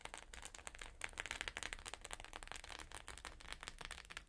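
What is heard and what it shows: Long nails tap and lightly scratch the plastic sequins of a flat rainbow sequin pouch. The result is a quiet, rapid run of short, dry clicks and crisp scratchy rustles, bright and sharp with a tonal ring near 2 kHz.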